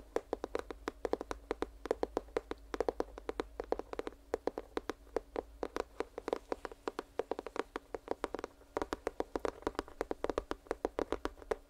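Fingers tap rapidly on a cardboard headphone retail box, producing a steady stream of short, dry, hollow knocks centered in the midrange. Each tap dies away almost instantly, with brief pauses between bursts of tapping.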